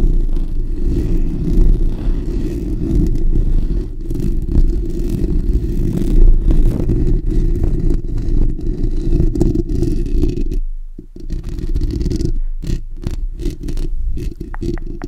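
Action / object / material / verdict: scrape / steel wire-mesh microphone grille / steel mesh / none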